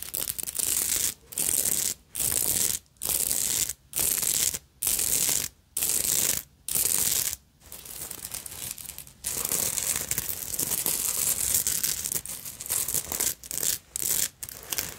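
Long nails scratch and rub over the bead embroidery on the front of a black beaded and sequined fabric purse with a thin metal chain strap at its side. A series of bright, rasping scratching bursts is broken by brief silences, then gives way to steadier, quieter rubbing before a few final short bursts.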